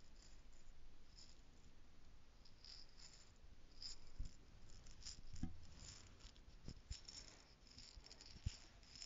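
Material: Plastic.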